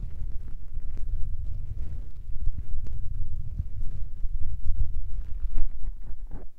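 Fingertips rub and tap the small grey foam windscreens covering a recorder's microphone capsules. The result is a continuous, muffled low rumble of scratchy thumps and brushing, with nearly all the energy in the deep bass and only faint, brief brighter ticks on top.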